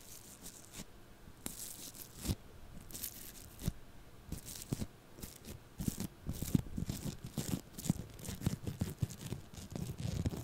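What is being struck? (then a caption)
Lump of foam-bead floam clay. A small lump of purple floam foam-bead clay, held in the hand, is poked and scratched with a thin stick tool close to the microphone. It gives a run of quick, dry crackles and crunchy tearing snaps with bright crisp edges over a soft low thump. The crackling grows busier and louder in the second half.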